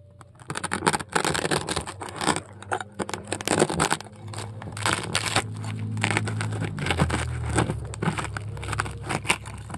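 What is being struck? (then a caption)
Polystyrene foam ball scraped with a metal scoop. A metal scoop tool scrapes and carves a round hole into a large polystyrene foam ball. Loud, bright crunching and squeaky scraping bursts come in quick, irregular strokes over a low steady hum. Midway the strokes blur into a more continuous grinding scrape.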